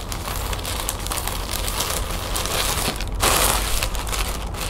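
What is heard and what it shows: Long painted fingernails scratch and tap a folded lime-green plastic shopping bag resting on a table. A dense, continuous crinkling and scratching texture carries steady low rumble and bright crackle throughout. A louder, brighter rustling burst comes just after the three-second mark, then the scratching settles back to its earlier level.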